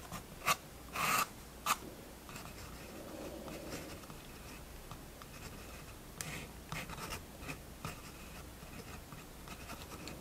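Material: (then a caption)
Paper. A fineliner pen draws steady lines on the paper page of a spiral-bound sketchbook resting on a wooden table. Three loud, bright scratching strokes come in the first two seconds, then a quieter stretch of continuous drawing, and five softer, irregular strokes after about six seconds. The scratches are dry and short, with a hiss-like tone centered near 1.3 kHz.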